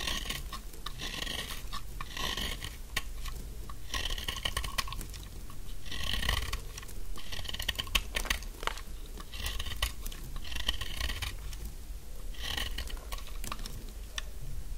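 A thin, solid pink stick of dry soap has its edges scraped and carved with a metal snap-off knife blade, cutting crumbly and dry. Continuous scratchy scraping and crisp crunching carry bright hiss over a low background rumble. Dense cuts come in rhythmic bursts with brief pauses between them.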